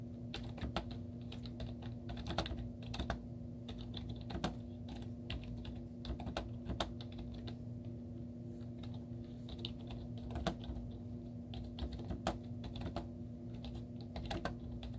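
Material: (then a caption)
Plastic. Long teal-painted nails and fingertips type rapidly on a white plastic laptop keyboard with cartoon stickers on its hollow keys. The result is a steady stream of short, clicky taps over a constant low hum and a steady tone near 230 Hz.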